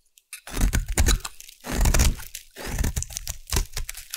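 A solid white bar of Savannah collection soap, held in the hand, is scraped with a metal blade, giving dense crunchy, crumbly scraping strokes that come in overlapping bursts. The sound is mostly low and thick with a brittle crackle on top, and it cuts off in short gaps between strokes as the soap breaks away in flakes.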